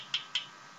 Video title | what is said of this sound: #19: Value Village Jewelry Bag (Part 2 of 2) | you can just hear when you tap them that these are hollow earrings